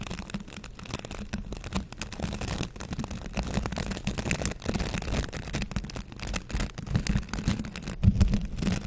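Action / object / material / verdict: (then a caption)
scrape / plastic scrub brush / plastic / none. A green plastic scrub brush with a handle loop is held in one hand while fingers scratch back and forth across its bristles. The result is a dense, continuous scratchy rustle of rapid strokes, mostly low and muffled with little brightness, growing slightly louder and choppier toward the end.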